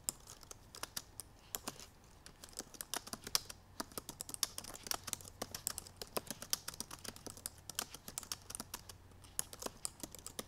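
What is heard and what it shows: Long purple nails type rapidly on the black plastic keys of a silver aluminum MacBook Pro laptop keyboard. The result is a fast, uneven stream of short, sharp, bright clicks and taps that stop almost instantly, over a faint steady low hum.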